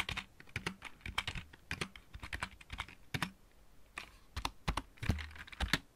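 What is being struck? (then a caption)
Mechanical keyboard with plastic keycaps. A full-size backlit mechanical keyboard with plastic keycaps is typed on with the fingertips of both hands. The result is a rapid, uneven run of short clicky key strikes, each combining a low thock with a bright plastic clack that cuts off almost instantly, with brief pauses between bursts.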